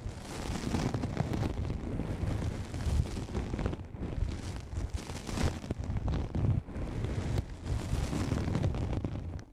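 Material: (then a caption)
Nylon fabric. A black padded nylon fabric lens pouch, pulled over the microphone so it sits hollow, is scratched with long nails. The result is a continuous, muffled, rumbling scrape that is heavy in the low end with almost no high treble, rising and falling in short swells.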